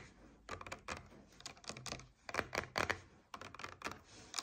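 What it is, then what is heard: Coconut water carton. Long nails tap quickly on a paperboard coconut water carton lying on its side. The result is a quiet, irregular run of dry, clicky taps with a bright, papery edge and almost no ring, falling in short bursts.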